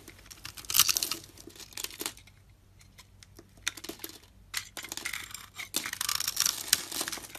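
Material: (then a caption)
Soap. A metal utility knife blade scrapes across the surface of a hand-sized solid brown soap bar scored in a grid, shaving it into small flakes and cubes. Bright, dry crackling and tearing scrapes come in dense bursts, with a quieter stretch of sparse crunches in the middle before the scraping picks up again.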